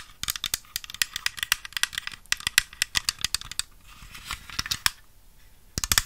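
A small, hollow white plastic toy piano with a paper sheet-music stand is handled close to the microphone and tapped with long nails. Quick, bright clicky taps come in dense bursts with short pauses between them. Each tap is sharp and dies away almost instantly, with little low end.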